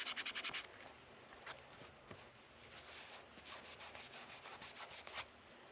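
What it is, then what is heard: Guitar fretboard being sanded. A white sanding sponge is rubbed by hand along the metal frets of a solid dark wooden guitar fretboard with dot inlays, the neck resting on a black support. A quick run of bright, papery scrubbing strokes opens the clip, followed by softer, uneven rubbing and scratching with a few sharper scrapes.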